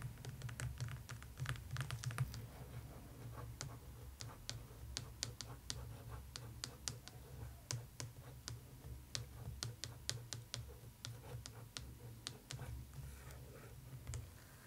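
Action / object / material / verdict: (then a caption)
tap / paperback book with glossy paper cover / glossy paper / none. Long pointed nails tap and scratch across the thin, glossy, illustrated paper cover of a closed paperback copy of A Golden Christmas Treasury lying flat, held steady by one hand. Rapid, sharp, bright clicks come in irregular bursts, denser at the start, with faint scratchy brushing between them. A steady low rumble runs underneath throughout.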